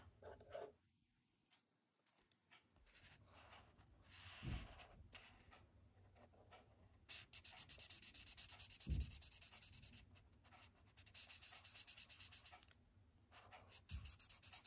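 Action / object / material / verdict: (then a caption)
scrape / paper sketchbook page with felt-tip marker / paper / none. A thick blue felt-tip marker outlines and rubs colour onto a white paper sketchbook page resting on a wooden desk. Short, bright, scratchy strokes give way to long bursts of rapid, squeaky back-and-forth rubbing, broken by a few soft low thumps against the desk.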